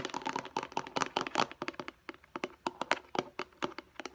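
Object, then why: Plastic food storage container. Long acrylic nails tap fast on the lid and sides of a hand-sized, hollow, light blue plastic food storage box that looks empty. The taps come as a dense run of short, dry clicks with a hollow mid-range tone around 950 Hz and a bright edge, almost no low end, and each tap dies away almost at once.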